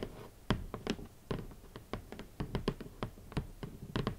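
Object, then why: Cardboard shoe box lid. Long nails and fingertips tap on the hollow lid of a large, red, rigid cardboard shoe box. The taps come at an uneven, unhurried pace, each a short, dry knock with a low, hollow thump and a brief bright click. They die away almost instantly.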